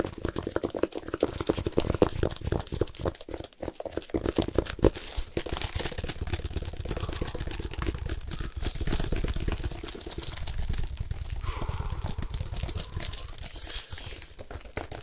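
Gloved hands rapidly scratch and squeeze the clear plastic film wrapped around a solid compressed hay cube with a cardboard label. Fast, dense crinkling and crunchy scratches come in quick bursts at first, then settle into a steadier, continuous rustle with a heavy low-end rumble.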